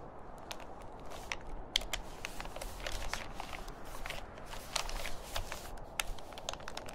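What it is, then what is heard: Plastic shopping bag. Fingertips press, lift and crinkle the film of a large, thin, empty grey plastic reusable shopping bag with green print lying flat on a table, with a white plastic bag handle beside it. Dense, irregular crackling and crinkling is heard, with many sharp, bright ticks over a steady low rumble.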